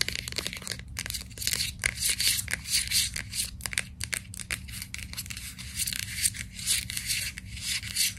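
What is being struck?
Plastic bottle with paper label.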